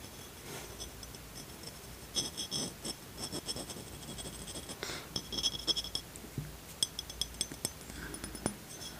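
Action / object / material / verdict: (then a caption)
tap / glass beverage bottle / glass / none. Fingertips tap and scratch the surface of a brown amber glass beverage bottle with a paper label, about 25 cm tall, held upright in one hand. Quiet scratching runs under a scattered series of short, bright glassy clinks with a high ringing tone near 3.3 kHz, each dying away almost at once.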